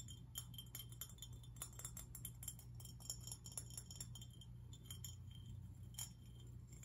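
A medium-sized, hollow, teal glazed ceramic fish-shaped lantern with cut-out holes is held in the hands and tapped and scratched with fingernails on its outer surface and the rims of its holes. It makes a quick, quiet run of bright, glassy clicks and clinks that stop almost at once, with a faint scratching texture. A steady low hum runs underneath.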